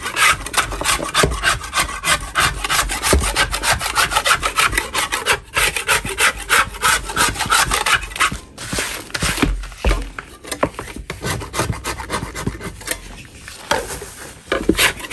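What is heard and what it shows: A hand in a purple glove scrapes the top surface of a large solid chalk block with a metal spatula blade. Quick, uneven strokes come about three per second, each a dry, gritty rasp with a bright hissing edge. There are brief pauses near the 5.5 and 8.5 second marks.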